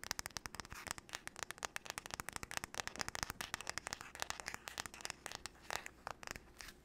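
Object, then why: Wooden paddle hairbrush. Long nails rapidly tap and scratch the solid wood back and handle of a wooden paddle hairbrush. A fast, irregular stream of sharp, bright clicks comes through, with very short decays and scratchy crackle between them.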